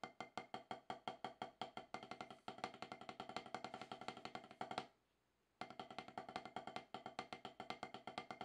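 Two wooden drumsticks tap a rapid, steady stream of dry, clicky strokes on a solid octagonal HQ snare practice pad with a dark rubber surface. Each hit has a knocking tone centered near 750 Hz with almost no ring. The playing stops briefly before five seconds, then resumes at the same pace.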